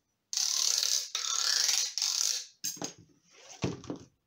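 A thin white plastic stick is scraped along the ridges of a long, large-diameter, hollow black corrugated plastic pipe held horizontally. Three long, bright, ratchet-like scrapes are followed by shorter, rougher bursts with more low-end thump.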